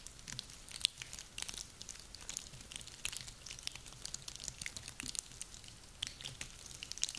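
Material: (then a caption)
Wood. A handful of small, solid, dry pine cones with woody scales, gathered from a garland, is squeezed and rubbed together in cupped hands with long nails. The result is a steady, quiet stream of dry, crackling crunches and scratchy rustles, bright and crisp with almost no low end. Occasional sharper snaps stand out.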